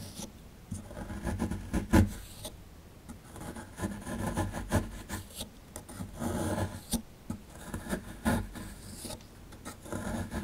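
A plastic chisel rubs and scrapes at a solid plaster fossil dig block held in the hand, loosening powder from the plaster. The sound is a dull, low-heavy rasping in uneven bursts, broken by a few sharper scraping knocks and quiet pauses.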